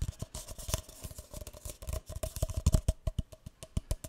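A single empty, hollow, light green speckled paper cup is tapped and scratched on its side and base with fingertips and nails. The result is a rapid series of short, dry taps with a soft low thump and a faint hollow tone near 600 Hz, mixed with bright, scratchy rasps that come through most clearly in the first half.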